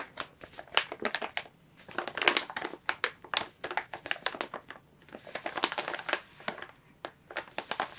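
A clear plastic bag used as packaging for a plush toy is held in both hands, squeezed, crinkled and turned while long nails scratch its surface. The result is dense, bright crinkling and crackling in quick, irregular bursts with sharp scratchy clicks and almost no low end.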